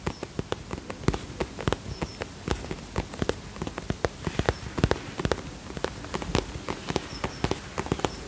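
A holographic vinyl zip cosmetic pouch, held close to the microphone, is tapped with long fingernails. About 35 quick, dry taps with a sharp click and almost no ring land in an uneven run over a soft, low rustling background.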